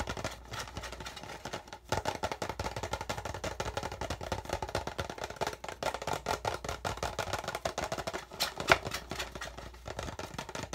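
An empty, hollow clear PET plastic water bottle is held in both hands while fingertips rapidly tap and scratch at the label area and the thin plastic walls. The result is a dense, fast stream of short, crinkly clicks and scrapes with a hollow midrange tone around 670 Hz and a bright edge, each sound dying away almost instantly. One slightly sharper tap stands out near the end.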